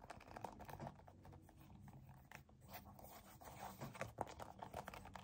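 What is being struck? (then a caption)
Soft plastic cream tube. A hollow white and yellow soft plastic cosmetic tube filled with cream is gripped and squeezed with both hands, fingertips and short nails. Quiet, irregular crinkling, squelching and tapping sounds are heard, with soft clicks and low rubbing.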